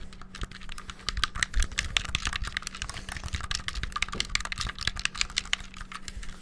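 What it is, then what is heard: Plastic game controller buttons. The black buttons of a white, hollow handheld plastic gamepad are pressed and clicked rapidly with fingertips and thumbs close to the mic. It produces a fast, dense stream of short, sharp, bright clicks that die away instantly, over a faint steady low hum.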